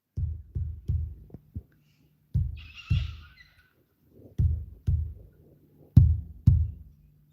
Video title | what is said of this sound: Around the Kitchen Table: Let's Chat... | Oh, that sounds hollow.